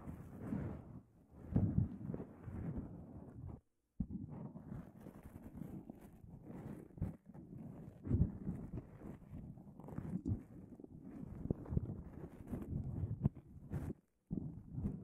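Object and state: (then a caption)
Fabric face mask scratched over a microphone. Fingertips and nails scratch and rub a disposable nonwoven fabric face mask stretched over a microphone head. The result is a close, muffled, mostly low rustling and scratching that runs continuously, with a couple of brief silent breaks along the way.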